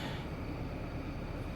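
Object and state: Nothing is struck.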